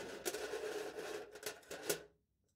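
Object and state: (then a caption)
Foil lid on a plastic cup, scratched. A knife point scratches letters into the taut aluminium foil stretched over a hollow plastic cup held in the hand. It makes a continuous dry, papery scraping with a hollow, slightly tonal resonance and a few sharper bright strokes. The scratching stops abruptly after about two seconds, leaving near silence.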